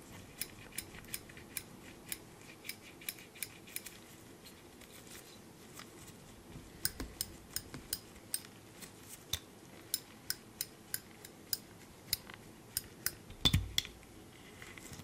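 Gloved fingers squeeze and flip the wire handles of a small black steel binder clip, producing around thirty short, sharp metal clicks with a bright, high ring around 3.5 kHz that dies almost instantly. The clicks come at an irregular pace over a quiet background, with a louder cluster and a dull low thump near the end.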